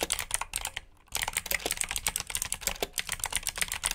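Fingertips of both hands type continuously on the keycaps of a black plastic RGB mechanical keyboard with blue switches, producing fast, bright, sharp clicks. The typing runs steadily except for a brief pause near the one-second mark, and each click dies away almost instantly.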